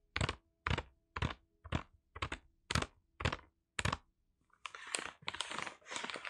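Fingertips tap a flat package wrapped in brown kraft paper, held in both hands with its contents hidden, eight times in a steady rhythm. Each tap is a short, dry, crisp thud with a bright papery edge. The fingertips then scratch and rub the surface in a longer run of rough, crinkling paper noise.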